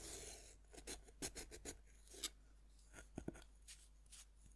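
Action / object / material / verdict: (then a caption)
scrape / pressed-powder bath bomb scraped with a metal knife tip / pressed powder / none. A metal knife tip scratches grooves into a fist-sized, solid pink pressed-powder bath bomb that rests on a wooden board and is held by one hand. The sound is a quiet series of short, dry, bright rasping scrapes with a soft gritty hiss between them. Each stroke stops abruptly with no ring.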